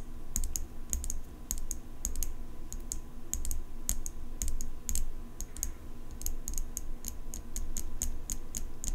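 Long nails tap and scratch the blade of an open steel folding pocket knife with an engraved metal handle. The result is a rapid, uneven run of short, bright metallic clicks over a steady low hum. Each tick dies away almost instantly.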